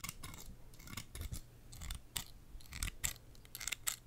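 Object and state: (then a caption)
Metal scissors snipping. A small pair of scissors with steel blades and blue plastic handles, held in one hand close to the microphone, is repeatedly opened and snipped shut by the fingers. The result is a quick series of sharp, bright metallic snips with blade scrapes between them, over a soft low rumble.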